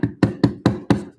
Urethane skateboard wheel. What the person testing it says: the knock test got a slightly different sound